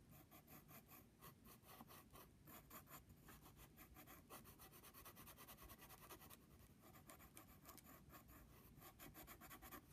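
A wooden pencil tip scratches across a flat brown padded paper envelope, drawing small doodles near a drawn flower. The quiet, steady rasping strokes come in short overlapping bursts with a bright, papery scratch over a soft low rustle.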